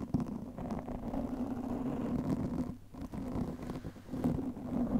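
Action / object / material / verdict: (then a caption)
scrape / foam microphone windscreen / foam / none. Long nails of both hands scratch steadily across the black foam windscreen of a studio microphone, making a dense, close-up rustling scrape heavy in the low and middle range with a steady hum-like tone underneath. The scratching runs nearly continuously, briefly easing just before the three-second mark and then picking back up.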